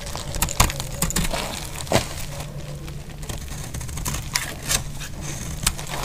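A metal blade cuts and scrapes flakes off a solid, dry green soap bar held in the hand, producing a steady run of crisp, dry scraping and crackling. Sharp, bright snaps and clicks stand out over a constant low hum.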